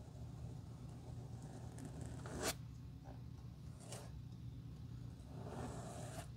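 A glue brush spreads glue in strokes across the solid red-brown leather outsole of a black dress shoe held in the hand. Soft, scratchy, zipper-like brush strokes rasp over a steady low hum, with the sharpest stroke about midway through.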